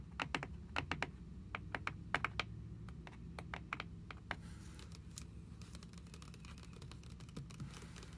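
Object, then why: Paper endpaper of a hardcover journal. Long acrylic nails tap and scratch the grey endpaper pages of a red hardcover journal lying open on a wooden table. Quick, sharp clicking taps fill the first four seconds, then give way to a softer, continuous scratching rustle with a few scattered taps, over a steady low background hum.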